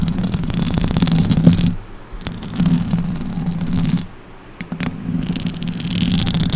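Long orange acrylic nails on both hands scratch the hollow metal mesh grille of a silver Blue Yeti microphone. The result is a dense, rough scratching with a heavy low rumble and bright crackle, in three stretches separated by two brief quieter pauses.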